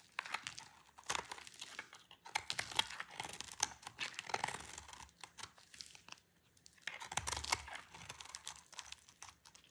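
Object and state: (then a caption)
Dry soap bar. A dry, solid rectangular green soap bar held in the hand is sliced into strips with a utility knife blade. Each cut gives a crisp, bright, dry crunching and shaving sound in quick bursts. The bursts pause briefly near the six-second mark before resuming.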